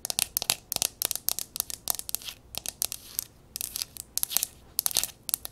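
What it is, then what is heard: Mercury glass candle jar. Long acrylic nails quickly tap and scratch a small jar candle of speckled silver mercury glass with a metal rim, held and turned in the hands; it is hollow with a wax fill inside. Rapid, bright, clicky taps come in clusters between thin, high scratching strokes, almost no low end, and each tap stops dead with no ring.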